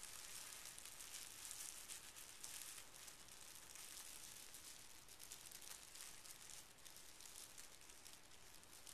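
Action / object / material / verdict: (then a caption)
scrape / folded tissue paper / paper / none. Fingertips of both hands press and rub across a small folded square of pink tissue paper resting on carpet. A quiet, steady, bright crinkling rustle with a faint hiss runs throughout, with small flickers of texture but no distinct separate hits.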